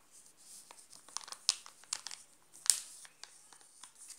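Fingertips and nails scratch and crinkle the glossy black-and-gold plastic wrapper of a sealed, flat, full Nestlé Alpino Black Top chocolate bar lying on pink fabric. The result is a quiet, bright, hissing crinkle with sharp, crackly snaps scattered irregularly throughout, the loudest near the middle and toward the end.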